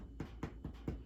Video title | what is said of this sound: Quarantine Day 4 - The Science of Baking Bread | it sounds Hollow when you tap on it and that means it's cooked